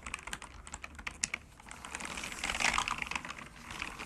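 Fingertips of both hands type fast key presses on a bamboo wood computer keyboard resting on a cork desk. The result is a rapid run of crisp, bright, dry clicks with almost no low end. The taps start out spaced, then thicken into a louder, denser flurry past the midpoint before easing off.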